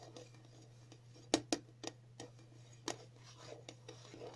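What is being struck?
Small round metal tin tapped with fingernails.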